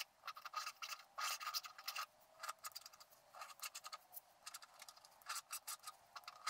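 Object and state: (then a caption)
Scratch-art card being scratched. A wooden stylus scratches across the fence area of a flat scratch-art card coated in black over paper. It makes quick, quiet bursts of dry, bright scratching with short pauses between strokes and almost no low end.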